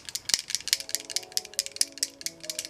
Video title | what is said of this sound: IN-DEPTH RARE BEAUTY REVIEW - MEDIUM, COMBINATION SKIN | blender bottles for protein shakes and when you shake it it sounds just like this